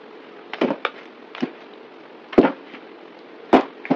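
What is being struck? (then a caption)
Bar of soap cut with a knife. A solid green rectangular bar of soap held in the hand is carved and scraped with a yellow utility knife. About nine short, crisp cuts and scrapes come at an uneven pace, each a brief crackling bite centred in the mids with a bright edge. There is almost no low end, and each sound dies away quickly.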